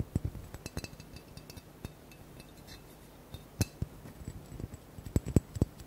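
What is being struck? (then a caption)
Large square glass bottle. Fingernails tap the bottom and sides of a large, hollow, square blue glass bottle held at a tilt. About twenty quick, dull clicks come in an uneven rhythm, each thudding low and dying almost at once with little ring. The taps grow louder and closer together near the end.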